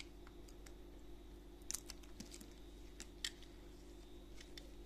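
A small solid pink-and-white soap bear, held in a gloved hand, is scraped and carved with a utility knife blade. Quiet, bright, crisp scratching clicks and ticks sit over a steady low hum, with two sharper scrapes standing out. Flakes of soap chip off the figure.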